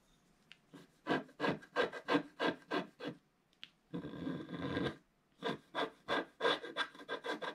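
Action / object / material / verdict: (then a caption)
scrape / wax-coated scratch-art paper scraped with a pointed wooden stick / waxed paper / none. A pointed wooden stick scratches the coating off a flat black wax-coated scratch-art page laid over colored paper in a book, which lies on a table while the other hand holds the page. Quick, rhythmic dry scraping strokes are broken by one longer continuous scrape in the middle. The raspy strokes then resume at a steady pace.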